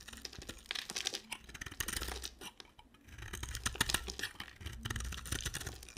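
A solid, square bar of dry white soap with a blue coating, held in a hand with long black nails, is shaved and carved with a box cutter blade. Dense, crumbly scraping and sharp cracking sounds come as flakes break away, bright and crisp with a soft low rumble underneath. The bursts rise and fall in clusters with a brief quieter gap near the middle.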